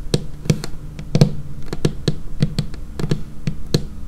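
Long painted fingernails tap on a dark laminated wooden tabletop close to the camera. Crisp, short clicks land in an irregular rhythm, each with a low woody knock around 145 Hz and a faint bright tick, and they die away almost instantly.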